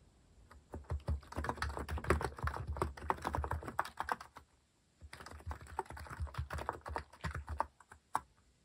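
A compact white-cased mechanical keyboard with plastic cat-themed keycaps is typed on quickly with fingertips, producing dense runs of short, dry clicks and clacks with a low thock beneath them. One burst of fast typing runs for about four seconds, then a brief pause, then a second burst trails off into a final single keystroke.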